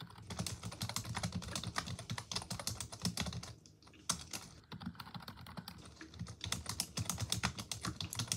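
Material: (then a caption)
Plastic. Both hands with long pink acrylic nails and fingertips type rapidly on a full-size black plastic computer keyboard resting on a desk. The result is a continuous stream of bright, clicky key taps over a low plastic thud, with a brief lull near the middle before the typing picks back up.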